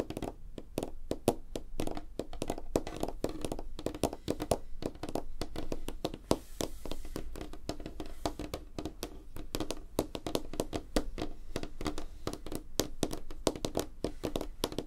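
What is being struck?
Plastic smartphone back.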